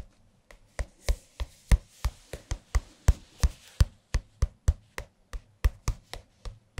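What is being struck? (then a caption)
Large thin softcover paper book with card cover. Fingertips tap the glossy card cover of a large, thin softcover music book (Jazz Piano) held upright between microphones. There are 22 distinct, short, dull taps at a steady, quick rhythm. Each is mostly low thuds with a faint papery crackle on top, dying away almost at once.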